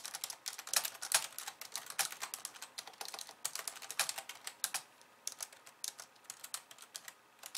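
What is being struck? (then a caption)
Plastic computer keyboard. Long nails type fast with both hands on a pink, slim plastic keyboard with white keys. The result is a dense run of short, bright, clicky taps with almost no low end. The taps come thick and quick at first, then thin out into sparser strokes with brief pauses toward the end.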